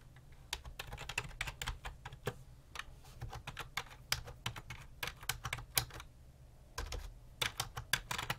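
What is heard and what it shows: Fingertips type repeatedly on a full-size black and grey plastic computer keyboard with a hollow body, resting on a desk. About thirty-two short, bright, clicky key taps come in quick bursts, with a brief pause near the six-second mark. A steady low hum sits underneath throughout.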